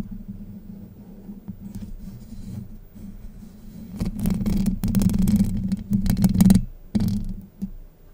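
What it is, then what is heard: Metal mesh microphone grille scratched. Long light-blue nails pinch the top of a Blue Yeti microphone's hollow, domed steel wire-mesh grille and scratch it, then scratch along the right side of the mesh. Soft, muffled rubbing with a low, boomy hum builds after about four seconds into louder, rough scraping with bright crackling bursts. It peaks near six and a half seconds, then drops back to quieter, scattered scratches.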